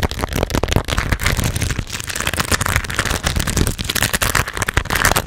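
A pearl and rhinestone embellished, bead-encrusted baseball cap with a stiff brim is held in front of a microphone while long red nails scratch and tap its beaded crown and brim. The result is a dense, continuous stream of rapid clicks, crackles and rattling scrapes over soft low thumps, with no pauses through the clip.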